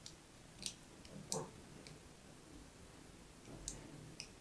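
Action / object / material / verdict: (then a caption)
scrape / solid soap bar / soap / none. A thin pointed tool scratches lines near the edge of a hand-held blue and white striped solid soap bar. Seven quiet, bright clicks and scrapes stand out over a low, soft background hiss, each fading quickly.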